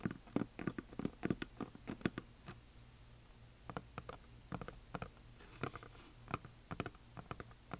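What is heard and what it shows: Fingernails tap on a solid painted wooden heart plaque with glitter paint, producing quiet, dry, short knocks with a low woody body that stop almost instantly. Between the taps, a flat hand rubs softly across the surface, then the fingers tap along the plaque's top edge in scattered bursts.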